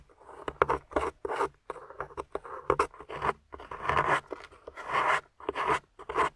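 A small metal spoon tool, held in fingers with long nails, scrapes and digs into a solid, grey, crumbly plaster/clay dig-kit block with a plastic dinosaur skeleton embedded in it. Repeated short, gritty scrapes with a rough midrange texture come in quick bursts separated by brief pauses, with crumbling, rasping strokes and no ringing afterward.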